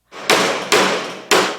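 A hammer strikes a fake 1 kg gold bar, actually gold-plated brass that weighs only 500 g and is stamped 999.9. It gives three sharp metallic clanks with a bright, ringing tone. Unlike real gold, the bar neither bends nor gets cut.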